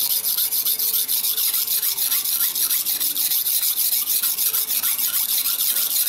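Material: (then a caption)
Steel, stone. A large steel kitchen knife blade is held flat under pressing fingertips and pushed back and forth across a long, solid, dark rectangular whetstone lying on a tiled floor, with a wet blade and a water bowl nearby. About 22 quick, steady strokes produce a bright, high, rasping scrape of steel on stone with almost no low end.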